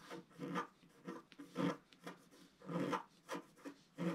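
A wooden stylus scratches wave lines into a solid, flat, black-coated scratch art page about A4 in size. Eight soft, dry rasping strokes come at an uneven pace. Each is a short, scratchy rub with a low-mid body and little bright hiss, separated by quiet gaps.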